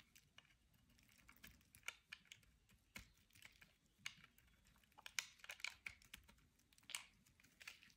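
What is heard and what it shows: A metal utility-knife blade scrapes and carves powdery, crumbly flakes off the edge of a solid, dry, hand-sized white oval bar of soap held in one hand. The result is a quiet, irregular series of short, crisp, dry scratches and ticks, bright and high with almost no low end, each dying away almost instantly.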